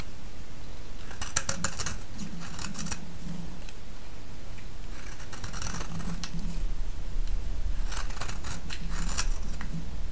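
A solid, palm-sized yellow bar of soap, held in one hand, is shaved with a utility-knife blade, making crisp, bright scraping and cutting strokes. The strokes come in three clusters, around the 1–3, 5–6 and 8–9.5 second marks, over a steady low hum that grows slightly louder in the second half.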